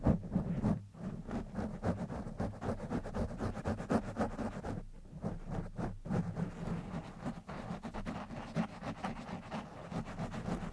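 Fingertips of both hands rub and scratch a black foam microphone windscreen, producing a continuous muffled, low-heavy scratching and rustling with rapid irregular strokes. The sound stays dull and bassy with little brightness, and there are brief dips in loudness between bursts of scratching.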